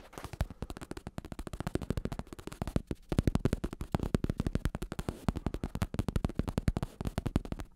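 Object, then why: Padded synthetic leather bicycle saddle. A black padded bicycle saddle with a synthetic leather cover and red trim, a padded top over a plastic shell, is held in one hand and tapped and scratched on the cover with fingertips and nails. A rapid, steady run of soft, dull taps fills the clip, each one short and low-heavy with almost no ring, mixed with faint scratchy rustle between hits.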